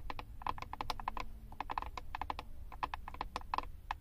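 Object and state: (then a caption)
Plastic eyeshadow compact tapped with nails. Long acrylic nails tap the back of a flat, hand-sized Wet n Wild plastic eyeshadow compact that carries a paper label. The result is a rapid, irregular series of sharp, dry clicks centered near 1 kHz, each dying away almost instantly over a low, steady rumble.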